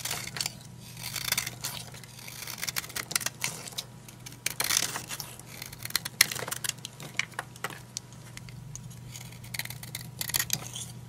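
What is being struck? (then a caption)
Bar of soap cut with a knife blade. A solid green oval bar of old, dry soap is held in the hand while a utility knife blade shaves and carves crumbly chunks off it. Many short, dry, bright scraping and crackling cuts are heard in irregular bursts over a steady low hum, with scattered crumbs ticking as they break away.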